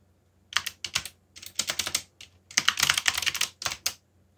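Fingertips type on a backlit mechanical keyboard with black plastic keycaps. Quick bursts of bright, sharp plastic clicks and clacks come in uneven runs separated by brief pauses, each keystroke dying away almost instantly.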